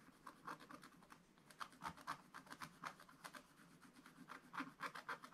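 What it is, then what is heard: Scratch-art paper being scratched. A wooden stylus scratches strokes into a black-coated scratch-art paper page in a spiral book, near the basket area. A quick, uneven series of short, dry, quiet scratches is heard, bright and papery with a faint midrange edge and no ring after each stroke.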